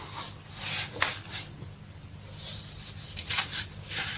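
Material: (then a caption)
Baking soda. Bare fingertips and palms rub, squeeze and dig through a large loose pile of green-dyed crushed baking soda on a dark tray, crushing clumps. Soft, bright, gritty crunches and rustling swells come in bursts, with a faint steady low hum underneath.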